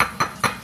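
A raw chicken egg in its shell is tapped, giving short, bright clinks around 1.2 kHz that die away quickly, like knocking on a solid object. Though it sounds solid in the shell, the contents turn out to be liquid when the egg is cracked open.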